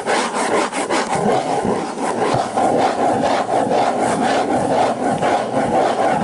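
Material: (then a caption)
Cardboard. Fingers scratch and rub across the cover of a hardcover book, making a steady, dry rasping with a midrange tone around 690 Hz. Brief scratchy strokes repeat over a constant close hiss, with no separate taps standing out.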